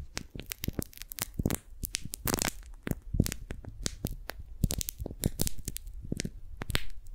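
A single small strawberry-print beeswax-coated cotton food wrap is held in both hands while fingertips and nails pinch, fold, grip it and peel its sticky layers apart. The result is a dense run of sharp, short crackles, crinkles and tearing peels with bright high-end snaps over a low, muffled handling rumble.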